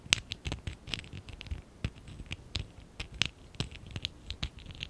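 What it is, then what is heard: Plastic Lego brick stack. A small, hollow stack of lilac and dark blue ABS plastic Lego Classic 11017 bricks is held in both hands while fingertips and short nails rub and scratch its sides. About sixteen quick, dry, bright scratches and clicks sound in an uneven rhythm, each stopping instantly with no ring, over a faint low thump of handling.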